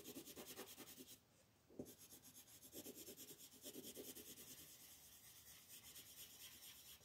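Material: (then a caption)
Paper. A yellow wooden colored pencil rubs and scratches across a flat sheet of white paper printed with a monkey, lying on a table with the other hand resting on it, in rapid back-and-forth coloring strokes. The strokes make a dry, bright, rhythmic scratching hiss that stops briefly for about half a second, then resumes with a small tap and continues steadily to the end.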